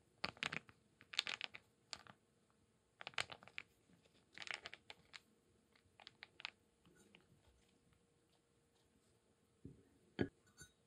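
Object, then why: Small wooden cubes and beads. Small solid wooden cubes and light wooden beads are held in cupped hands, shaken and rubbed against each other with the fingers. This produces bursts of bright, dry wooden clicking and crunching separated by quiet pauses. Each click dies away almost instantly, with very little low end.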